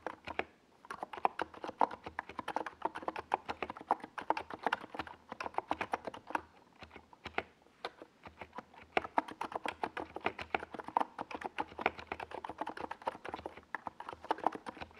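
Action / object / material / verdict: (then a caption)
tap / plastic mechanical keyboard with plastic keycaps / plastic / none. Continuous fast typing on a compact 68-key NiZ Plum Atom 68 mechanical keyboard with a white plastic case and purple and yellow Domikey Gas Attack SA plastic keycaps, resting on a desk pad and struck by the fingertips of both hands. Dense, short clacky keystrokes with a mid-pitched thock and brief bright edges, coming in quick bursts with a few short pauses.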